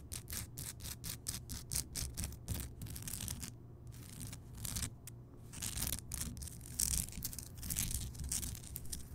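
Fingertips and long nails scratch across the bumpy surface of a large, solid, glowing Himalayan rock salt lamp. Quick, bright, gritty scratching strokes come in a steady rhythm at first, then blur into denser, continuous rubbing over a low, steady hum.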